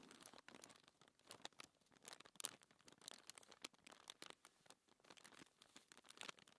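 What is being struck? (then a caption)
Paper sheet. A flat, thin white paper sheet lying on a table is scratched and rubbed by long-nailed fingertips. The result is a quiet, dense run of dry, bright scratching and crinkling bursts with almost no low end, each one brief and close together.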